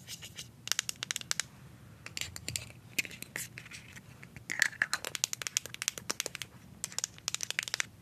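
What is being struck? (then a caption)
Small plastic deodorant stick. A small plastic deodorant stick is tapped and scratched along its label with paper clip nails. Many quick, sharp clicks come in bursts, mixed with brief, bright, crinkly scratching. The sound is thin and high with almost no low end, and each tap stops dead.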